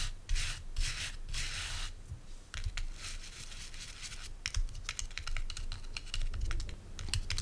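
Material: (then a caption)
Natural bristle. Fingernails scratch and flick quickly across the stiff natural bristles of a hand-sized oval body brush with a wooden base, held in the hand. The clip opens with broad, hissy rubbing scrapes, then turns into a rapid run of sharp, dry, bright ticks and flicks over a low background rumble.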